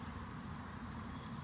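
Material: Nothing is struck.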